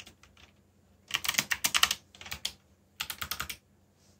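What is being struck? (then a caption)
Plastic mechanical keyboard. Fingertips type fast on a backlit black plastic mechanical keyboard. Faint taps at the start give way to three quick bursts of bright, sharp key clicks that die away almost at once, each separated by a short pause.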